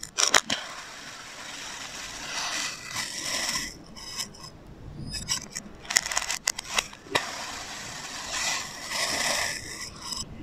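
A hand-held metal blade makes diagonal slicing cuts through a solid blue and orange kinetic sand figure resting on a white surface. The result is bright, hissy, gritty scraping that swells with each stroke, broken by sharp, crisp crackles and clicks, with almost no low end.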